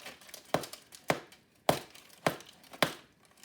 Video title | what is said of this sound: No Knead Crusty CHEDDAR & JALAPENO BREAD | that hollow thump that means that little bread is done